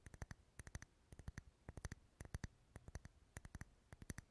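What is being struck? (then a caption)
Wax pillar candle. A lit, dark red solid wax pillar candle is held close to the mic and tapped and scratched with fingernails. Quick groups of three or four dry, clicky taps, about 29 in all, each with a soft low thump and a bright edge that dies away almost instantly. The sound stays quiet and close throughout.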